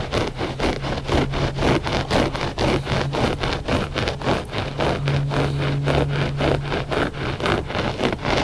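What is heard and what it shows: Short fingernails scratch back and forth across the pile of a flat gray loop-pile textile rug that is solid and soft. The result is a steady run of quick, dry, rasping strokes over a low, steady hum.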